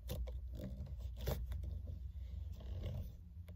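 Long-nailed hands wearing rings grip and scratch around the solid rim of a black, stitched faux-leather steering wheel cover. The result is a steady, low, rumbling rub broken by short, bright scratchy scrapes.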